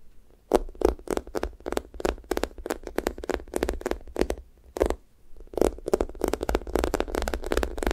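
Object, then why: Foam squishy toy. Long nails tap and press the pink sticky top of a thick strawberry toast squishy toy with orange sides, made of soft, solid foam. A steady run of short, sticky crackling squishes pops off the foam, with a brief lull near the middle before the tapping resumes over a faint low hum.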